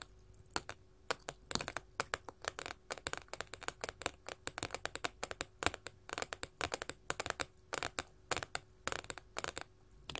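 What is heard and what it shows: Long gold metal filigree finger claws tap and scratch across a solid sheet of small colored glass mosaic tiles. The result is a rapid, irregular stream of sharp, bright clicks with very short ring, mixed with light scraping, over a quiet background with a faint steady hum.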